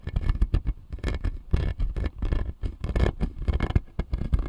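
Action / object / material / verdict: tap / acrylic dental model with plastic teeth / plastic / none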